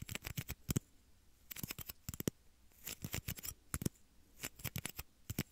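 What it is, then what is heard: Plastic shot glass. Small, hollow, empty, clear plastic shot glasses are held near the microphone's ears and tapped and scratched with fingertips and short nails. About 25 short, dry clicks land in irregular bursts with brief pauses between, each with a low thud and a bright crisp edge that stops almost instantly.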